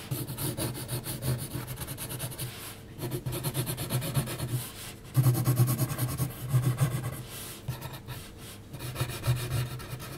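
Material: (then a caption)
Paper. An HB graphite pencil held in the fingers scratches and hatches across a flat sheet of heavy, textured 300 gsm mixed media paper resting on a solid surface. Dense, rapid rasping strokes come in bursts separated by brief pauses, with a low rumbling body under a thin, bright scratchy texture.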